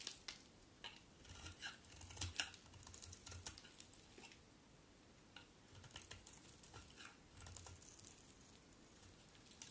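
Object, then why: Bar of soap scraped with a knife blade. A solid cream bar of soap held in the hand is scraped with a utility knife blade, and chunks and curls break off. Quiet, irregular, bright scraping and crisp clicks come in quick bursts with short soft thuds, then ease into lighter, sparser scrapes toward the end.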